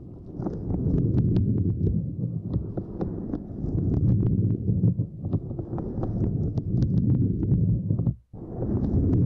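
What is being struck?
Small silicone lattice mat.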